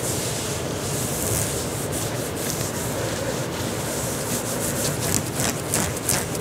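Fingertips and nails, from one or both hands, scratch and rub an olive green knit fabric tank top being worn, working over the shoulders and chest. A steady, dense rustling scrape runs throughout, with brighter scratchy strokes rising near the end.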